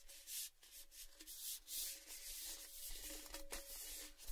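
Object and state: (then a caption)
Metal gift tin. Fingertips rub and scratch the side of an empty, hollow, red-painted Baileys metal gift tin held in both hands. Soft, bright scratchy swishes come in uneven swells, with a faint metallic ring humming around 550 Hz beneath them.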